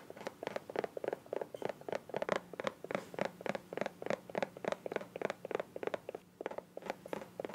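Long nails tap and scratch the rounded end and sides of a small, hollow, green soft plastic squeeze bottle with a white cap. About thirty quick, dull taps with a midrange tone near 600 Hz land at an uneven pace, roughly three to four per second, each with a faint scratchy edge. Every hit dies out almost at once.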